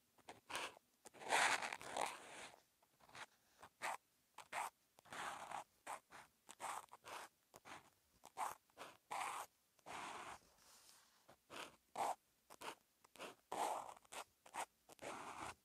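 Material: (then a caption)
Paper. A felt-tip outline marker held in the fingers writes characters in continuous strokes on a lined white paper notebook page. Its tip scratches and drags across the paper in many short, bright, dry bursts separated by brief pauses, with nothing in the low end.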